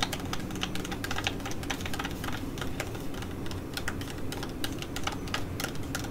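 A flat, filled cosmetea T5 laminated plastic sheet-mask pouch is held and then laid down while long nails tap and scratch its surface. Quick, irregular clicky taps with bright, crinkly scratching run steadily over a low, muffled rumble throughout.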